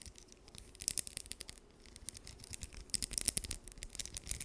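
Long nails scratch and flick the teeth of a small, solid blue plastic wide-tooth comb held close to the mic. The result is a quiet, rapid series of sharp, dry, bright ticks and scratchy rasps that die away almost instantly, with faint low rumble underneath.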